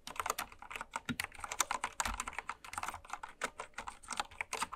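Fast typing with long red nails and fingertips on a full-size, white-cased Candy Series mechanical keyboard with pastel plastic keycaps, lying on fabric. A rapid, uneven stream of short, bright plastic clacks centered around 1 kHz, each tap dying away almost instantly with little low-end thump.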